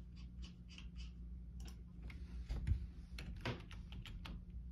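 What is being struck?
Plastic computer keyboard.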